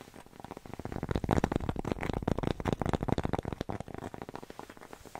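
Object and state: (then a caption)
Cork coaster tapped and scratched. Long nails rapidly tap and scratch a thin, flat, solid square cork coaster with a red dot, held in the hand. A dense, irregular stream of dull, dry clicks and scratchy crackle stays mostly low and mid, with little brightness and almost no ring. The sound swells louder through the middle, then eases off toward the end.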